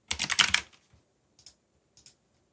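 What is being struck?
Mechanical keyboard with plastic keycaps.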